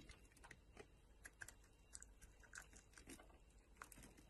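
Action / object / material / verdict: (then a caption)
scrape / bar of soap cut with a metal knife blade / soap / none. A metal utility knife blade carves and shaves a solid green bar of soap, sending flakes piling up. Quiet, rapid, short crisp scrapes and clicks come in an uneven series, each bright and dying away almost instantly over a faint low background.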